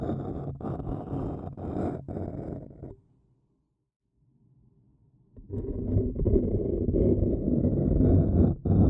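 A thin wooden stick scratches the rim of a hollow, apparently empty printed white paper cup, shown first wide and then in close-up. Dense, low, rumbling scratches fill the first three seconds, fade to near silence for about two seconds, then return louder and steadier to the end.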